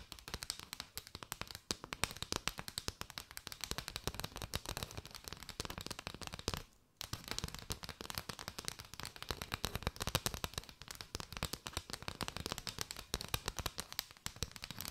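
Long white nails tap quickly across an arched bundle of hollow paper straws. A dense, continuous stream of sharp, dry clicks with bright high-end crackle and very little ring runs throughout, with a brief silence just before the 7-second mark.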